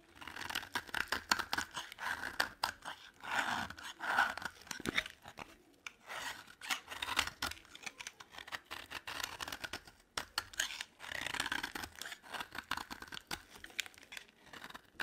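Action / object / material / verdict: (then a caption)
scrape / dry bar of soap / soap / none. A solid white bar of dry soap, held in the palm, is scraped with a utility knife blade to shave off crumbly flakes. Quick, dry, rasping scrapes repeat steadily throughout, with a bright, crunchy texture and very little low end.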